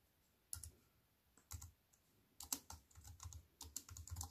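A compact wireless plastic computer keyboard with an aluminium frame, black plastic keys and a silver metal-look frame, sits on a wooden table and is typed on with fingertips and long white-painted nails. Soft, quick bursts of clicking keystrokes come in irregular runs, each pairing a dull low thud with a bright, crisp tick that dies away almost at once. Quiet pauses separate the runs before the typing grows busier toward the end.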